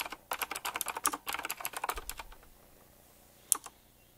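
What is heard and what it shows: Fingertips type quickly on a full-size typewriter-style mechanical keyboard with round black plastic keycaps, chrome-look rims and a metallic frame. A fast, uneven run of sharp, bright clicky taps lasts about two seconds and trails off into near silence. One last loud, crisp click comes near the end.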